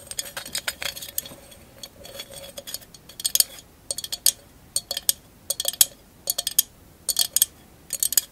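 A hollow glass candle holder covered in small mirror mosaic tiles, held upright, is tapped and scratched with long acrylic nails. Quick, bright clicks and clinks come in uneven bursts, with thin scratchy scrapes between them. Each tap is sharp and high, dying away almost at once with no low ring.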